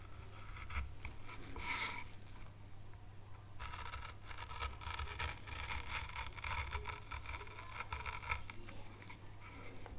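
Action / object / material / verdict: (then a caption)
scrape / small pale wooden carving panel under a fine gouge / wood / none. A fine veiner tool scrapes vein grooves into a small, solid, pale wood carving board, lifting a wood curl as it carves an oak leaf. Short, dry, bright scraping strokes repeat throughout over a steady low hum.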